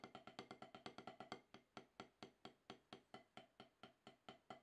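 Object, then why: Rubber drum practice pad struck with wooden sticks. Two wooden drumsticks with wooden tips play rapid rudiment taps on an octagonal HQ snare practice pad, about 12 inches across, with a gray gum-rubber playing surface on a solid black base, resting on a towel. Twenty-six short, dry, woody knocks with a mid-range tone die away almost instantly. A quick, dense burst in the first second and a half gives way to a steadier, more evenly spaced run of strokes.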